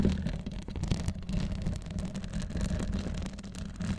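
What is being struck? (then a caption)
Metal wire-mesh microphone grille. Long acrylic nails scratch and tap the hollow, fist-sized metal wire-mesh grille on top of a Blue Yeti microphone with a rhinestone-covered body, recording through that same microphone. The result is a dense, continuous, muffled rumbling scrape that sits almost entirely in the low end around 78 Hz, with faint brief ticks and very little brightness.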